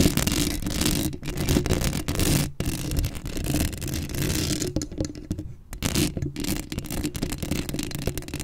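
Long acrylic nails scratch the hollow metal mesh grille of a black Blue Yeti microphone, making a dense, rapid scratching and scraping with a strong low, rumbling body. The scratching runs almost continuously, broken by a few brief pauses, and has a bright, hissy top layer.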